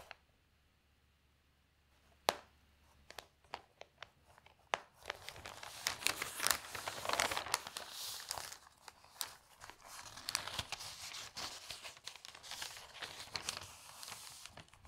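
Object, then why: Newspaper, newsprint paper. Hands lift and flip the thin newsprint pages of an open paper newspaper lying on a table, then flatten them with their fingertips. After a near-silent start with a few sharp, crisp paper snaps, a continuous bright crinkling and rustling fills the rest of the clip, dotted with quick louder crackles as the pages turn and are smoothed down.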